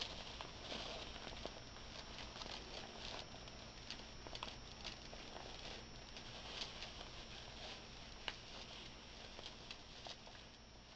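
A small dark velvet drawstring bag filled with glass beads is held in both hands while fingers squeeze, rub and tap it. The beads shift inside with a soft, steady rustling patter, broken by scattered sharp, bright clacks.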